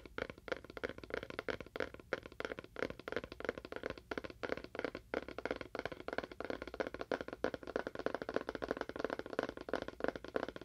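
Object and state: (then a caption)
Small cardboard box with faux wood finish. A small, hollow rectangular cardboard box with a faux wood finish is tapped with fingernails on its face and edge. Quick, dry clicks and taps follow each other steadily, with a short hollow knock centered in the midrange and very little ring.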